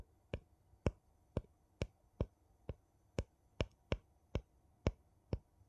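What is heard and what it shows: A thin, flat wooden piece taps and scratches the ridged rim of a gold metal screw lid on a small, empty glass jar. Twelve short, dry clicks land at a steady, unhurried pace, each with a bright edge that dies away almost at once. Between the taps there is only a faint low hiss.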